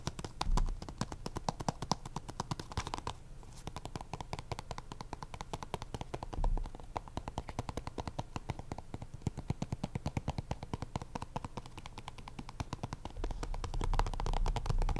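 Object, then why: Small plastic card deck box. Multiple fingertips rapidly tap the top of a small, hollow purple Ultra Pro plastic card deck box. The result is a dense, steady patter of short, dull, hollow taps with almost no ring, mostly low in tone, with a few louder bursts near the start, middle and end.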